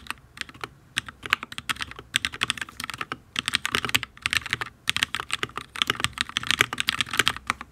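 Fingertips of both hands type steadily on a full-size HyperX Alloy Origins RGB mechanical keyboard with Fire switches and ABS keycaps on a solid steel plate. The result is a fast run of sharp, bright clicking taps with almost no low end, each dying away almost instantly.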